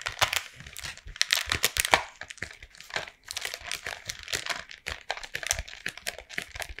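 Long painted nails tap and trace across the printed front of a flat, hollow Toffifee cardboard candy box held in both hands. The result is a rapid, irregular run of dry, bright clicks and papery scratching and crinkling, with very little low end.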